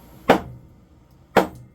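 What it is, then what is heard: Solid concrete floor slab. A saw-cut section of a concrete basement floor slab is struck twice to crack it loose. Each blow gives a short, dull thud centered in the midrange with a brief decay. The slab sounds solid, not yet broken through at the ends.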